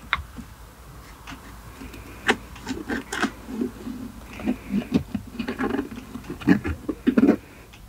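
Short-nailed fingertips tap and scratch a solid, hand-sized, dark perforated leather knob on a car's automatic gear selector, along with the leather boot around its base on a silver console. The result is a close, soft run of dull taps and light scratchy rubs with a low murmur underneath.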